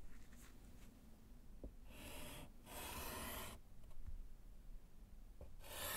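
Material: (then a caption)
Slate. A gloved hand writes with pink chalk on a small, flat, solid slate chalkboard in a wooden frame. Bursts of bright, raspy chalk scratching rise over a quiet, low background hum, and the longest stroke runs for nearly a second.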